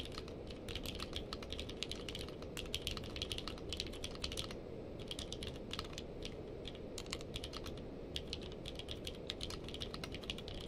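Two hands type with their fingertips on a purple-case mechanical keyboard with plastic keycaps. A quick, steady stream of bright, clicky keystrokes sits over a constant low background rumble, with a brief lull near the middle before the typing picks up again.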